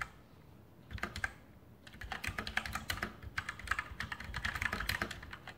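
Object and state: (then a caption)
Mechanical keyboard with plastic keycaps. A full-size RGB Sharpshooter X2000 mechanical keyboard with Outemu brown switches and plastic keycaps on a metal top plate is typed on with fingertips. After a brief quiet start, continuous key presses produce a fast stream of short, sharp clicks with a bright, clacky tone and a low thud beneath each stroke.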